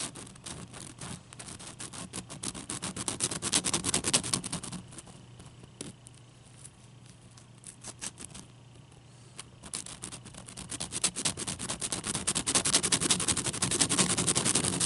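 Fingernails tap rapidly on a large, clear, solid ice cube held in both hands. The result is a dense stream of bright, crisp clicks with a faint low hum underneath. The tapping softens and thins out in the middle, then grows louder and busier toward the end.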